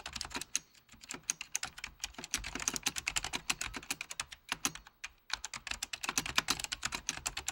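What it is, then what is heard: Plastic computer keyboard being typed on. Fingertips of both hands type on a full-size beige plastic Apple Extended Keyboard II with mechanical key switches. A rapid, bright, clicky patter of keystrokes comes in bursts, with short pauses near the one- and five-second marks. Each click stops almost instantly, with very little low end.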